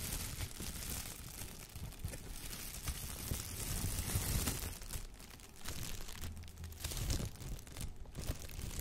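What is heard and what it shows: A clear, thin plastic shower cap is held up by its edge and shaken, then pinched and crinkled between the fingers. The result is a steady, dense crinkling and rustling with bright crackles over a soft low rumble, swelling slightly in the middle before easing off.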